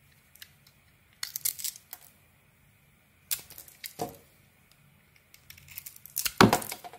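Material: Soap.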